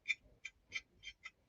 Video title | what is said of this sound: Saturday Night Stream - Have a chat and a laugh! #livestream #livestreams 📱 | listen to that sad old dull sound